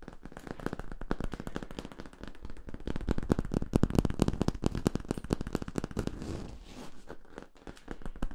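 Fingertips tap and scratch the labeled end cap and ridges of a hollow yellow ribbed (corrugated) plastic tube. The result is a rapid, irregular stream of short, dry, crackling taps with a low, hollow body. A softer scraping stretch comes near the end.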